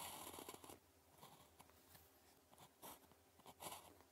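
The metal tip of a blue plastic ballpoint pen scratches strokes across a thin sheet of red-grid calligraphy paper lying flat while writing characters. Soft, dry scratching bursts with a bright, hissy edge come in short irregular strokes, separated by quiet pauses.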